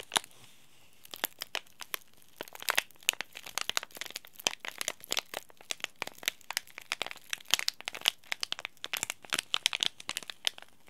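A small, sealed, green laminated plastic-foil tea bag sachet is crinkled and bent by fingertips and short nails. It makes a dense run of sharp, bright crackles and crinkles with almost no low end. Each snap is dry and dies away instantly.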